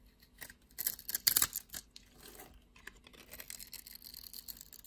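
A blade cuts small cubes from a solid blue and white striped bar of soap held in the hand and scrapes them off. Crisp, bright crackling cuts cluster into a louder burst in the first half. Quieter, steady scraping and crumbling follow to the end.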